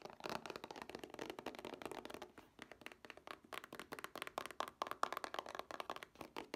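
Long nails tap and scratch a hollow Scooby-Doo DVD two-pack made of plastic cases with a printed cardboard sleeve. The result is a rapid, continuous series of quick, light clicking taps with very little ring, bright and hollow-sounding, with a faint tone around 1.1 kHz.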